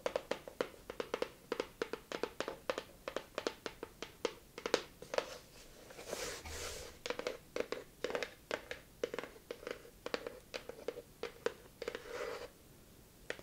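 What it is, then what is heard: Kraft cardboard box. Long acrylic nails tap and scratch the surface of a small, hollow, rectangular kraft-paper cardboard box held in both hands. A rapid, uneven series of short, dry, hollow taps with a resonant tone near 490 Hz is broken by softer, brushing scratches around the middle and again near the end.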